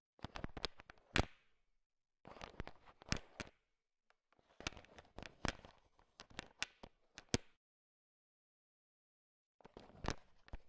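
A heap of small, hard sugar-shelled peanut M&Ms filling a bowl is stirred and tapped with a thin wooden stick to mix them. Quick bursts of dry clicking and rattling rise as the candies knock together, with sharp bright taps and short pauses between bursts.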